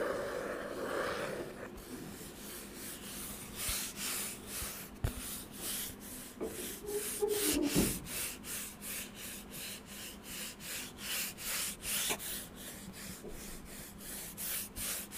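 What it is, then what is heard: Wooden board being rubbed. Fingertips rub a flat, thin, light-brown solid wooden board about the size of a hand, held close to the microphone. Quick, rhythmic, sanding-like strokes come at roughly four per second, each a soft, bright, breathy swish over a faint low hum. A few slightly louder scrapes stand out around the middle of the clip.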